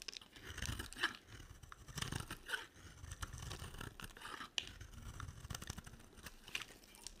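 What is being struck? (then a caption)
Bar of soap. A small metal blade scrapes and chips brittle flakes off a hand-sized bar of dry white and pink soap held in one hand with long dark nails. Quiet, dry crunching and scraping crackles in quick, uneven bursts, with bright, crisp snaps as flakes break away.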